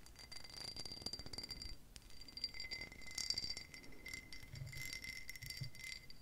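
Long pink nails tap along the side and rim of a tall, hollow, empty green pressed-glass tumbler with an embossed pattern. The result is a quick, steady run of light clicking taps, each with a short, bright glassy ring over a soft low rumble.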